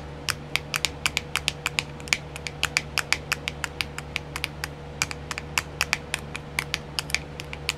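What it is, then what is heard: Plastic nail art wheel. Long nails tap fast on a small round clear plastic nail art wheel whose compartments are filled with decals. About 42 short, bright clicks sound in an uneven rapid stream, each centered near 2.3 kHz and dying away almost instantly. A faint steady low hum runs underneath.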